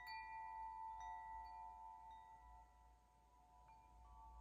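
A metal tube wind chime with long hollow tubes is held by its top string and swayed by hand, while fingers nudge the tubes so the striker hits them. Overlapping bell-like tones centred near 900 Hz ring out and sustain with slow decay, with a few fresh soft strikes and a brighter, higher tone entering near the end. The tones sit over a faint low rumble at a quiet level.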